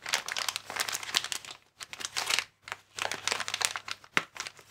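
A hand-sized, transparent inflated plastic air column cushion bag with vertical air-filled tubes is squeezed and rubbed by fingertips and thumbs. It gives off bright, dense crinkling in three bursts separated by brief pauses, ending with a sharp crackle. Nearly all the sound sits in the high range, with no low body.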